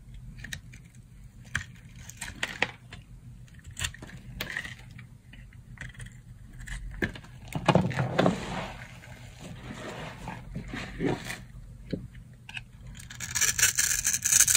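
A metal knife blade cuts into a solid bar of dry green soap held in the hand, making crunchy scraping and cutting sounds. Short, bright, irregular crunches and scrapes repeat throughout, with louder cutting passes in the middle and a denser, brighter scraping stretch at the end.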